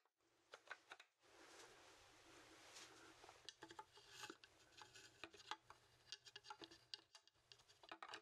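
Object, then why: Horned goat skull, bone. A large, hollow, dry horned goat skull made of bone is held in both hands while fingertips tap and scratch its cranium and snout. Quiet, bright clicking taps are scattered across the clip, with a steadier scratchy rasp filling the middle stretch before the crisp, quick-fading taps return.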